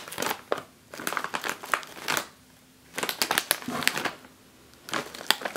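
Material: Foil-lined plastic.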